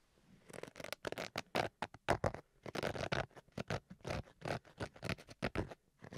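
Fingertips and nails scratch the face and edge of a black zippered Switch carrying case with a fabric-covered hard shell. A quiet, rapid run of short, dry scratching strokes follows, each a brief burst of rough, papery noise that reaches up into a bright hiss. The strokes come in an irregular, pattering rhythm with almost no ring after each one.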